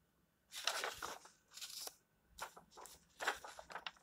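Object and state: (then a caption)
Paper book pages. A hand sweeps over and turns the illustrated paper pages of an open paperback book, making a series of dry, crisp rustling bursts. The rustles are bright and airy with almost no low end, separated by brief quiet gaps.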